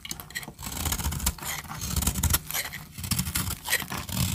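A metal blade scrapes and cuts into the surface of a solid, palm-sized orange bar of dry soap held in one hand with long red-painted nails, shaving flakes onto a blue surface. The clip is a steady, rough, crackling scrape with a low rumbling body and a bright, hissy edge, rising and falling in short strokes.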